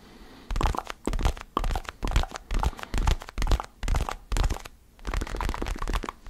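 A small, solid orange foam basketball stress ball is held close to the microphone and tapped and scratched with fingertips and nails. Short bursts of muffled, low thumping mixed with soft crackly scratching come in an uneven rhythm, separated by brief quiet gaps.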